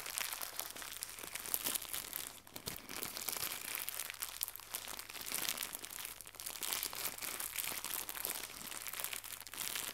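Fingertips with red-painted nails stretch and crumple a small white crinkly plastic gift bow. The result is a quiet, continuous stream of dense, bright, high crackling and crinkling with almost no low end, and each crackle dies away almost instantly.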